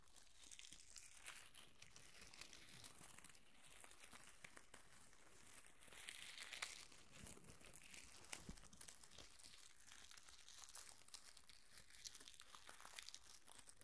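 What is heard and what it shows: A bunch of pink plastic curling ribbon is crumpled and rubbed with fingertips above the recorder, while a loose strand of the same ribbon lies on a towel. The result is a steady, quiet stream of bright crinkling and crackling, with brief sharper snaps and a slightly louder stretch in the middle.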